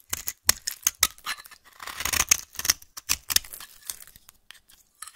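A solid beige-yellow vintage bar soap, held in the hand, is carved and scraped with a metal blade. The result is a string of crisp, bright scratching and cutting strokes, each one short and dry with almost no low end. A longer rasping scrape sits in the middle of the clip.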